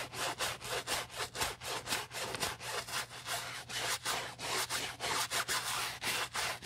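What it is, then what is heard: Nylon handbag being scrubbed. A wooden-handled bristle brush, held in a gloved hand, vigorously scrubs the foamy fabric of an empty beige nylon Prada handbag near the zipper. About fourteen rhythmic, bright, raspy scrubbing strokes follow one another in a steady back-and-forth pattern with short dips between them.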